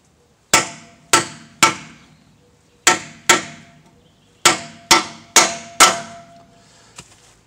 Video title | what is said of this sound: chevy tahoe rear wheel bearing replacement | until you hear a hollow sound, then you're good to go